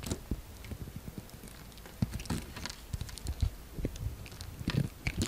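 A utility knife blade scores and shaves a solid orange bar of soap, with chips falling away. The clip is a string of soft, dry scrapes and crackly little taps, mostly low and dull with brief bright flicks, each one dying away almost instantly.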